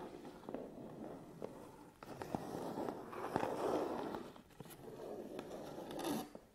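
Fingernails tap the top and front of a closed, hollow, medium Canon cardboard camera box, and fingertips scratch across its front face. Soft, papery scratching swells and fades in the mids, broken by short, dry clicks that die away almost at once. The sound stays quiet and hollow, with little deep bass or bright top.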